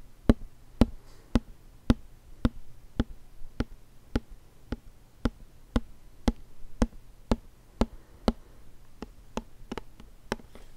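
A hollow white plastic lotion bottle with a label is held sideways and tapped with fingertips and nails, 21 times at a slow, steady pace. Each tap is a short, dry knock with a low hollow tone around 230 Hz and a quick clicky edge that dies away almost at once, over a quiet low background hum.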